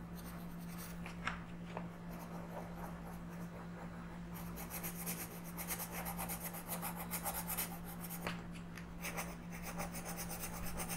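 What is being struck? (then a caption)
Wooden colored pencil on a paper page. A wooden green colored pencil is rubbed in coloring strokes across a thin paper page of a coloring book lying flat on a table. Soft, papery scratching starts light and sparse, then grows denser and brighter about halfway through, over a steady low hum.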